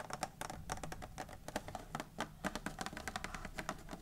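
Long nails tap and scratch the lid of a closed, medium-sized hollow Raffaello candy box made of printed cardboard, which lies flat on a wooden table. The fast, dry clicks come in a steady patter with a hollow, boxy tone, each hit dying away almost at once.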